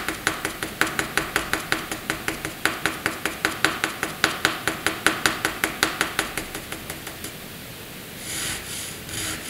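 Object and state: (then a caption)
Pencil hatching on drawing paper. A pencil makes short, quick hatching strokes on a flat sheet of white drawing paper, with about 35 distinct scratchy ticks in a steady rhythm over the first seven seconds. The strokes fade, and a softer, brighter scratching rub follows near the end.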